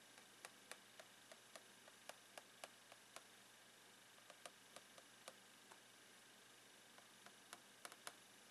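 A blue plastic pen taps the clear plastic lid of a long retail box full of rolled socks, making 17 light, irregular clicks over steady hiss. Each tap is short and bright, dying away almost at once with a slight hollow plastic tone.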